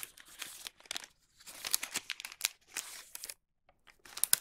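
Fingertips fold the bottom of a wax paper bag blank, making quick, bright crinkling and creasing bursts. The sharp, papery crackles come in clusters separated by brief silences, with almost no low end.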